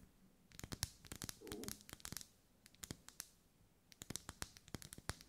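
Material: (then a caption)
Wax. Long nails scratch and tap along the vertical ribs of a lit, hand-held pink pillar candle of solid wax. Quiet, sharp, bright clicks and short scratchy rasps come in uneven bursts with brief pauses, each dying away instantly, with a soft rough rustle partway through.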